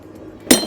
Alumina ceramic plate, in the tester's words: アルミナは陶器のようなものに近いのでそうですねあの壺をハンマーで割るような本当にガラスみたいな感じです